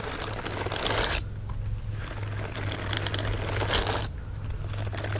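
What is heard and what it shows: Fingers rub and scratch across the bristled palm of an empty, flat green silicone scrubbing glove. Bursts of dense, bright, crinkly scratching come in waves and fade into quieter gaps, all over a steady low hum.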